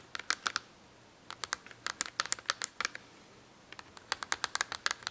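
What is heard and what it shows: Long acrylic nails tap and scratch a cardboard marker box held open with markers inside. Bursts of sharp, dry, bright clicks arrive in quick clusters, with a brief pause between them. Each click dies away almost instantly.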